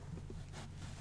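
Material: Nothing is struck.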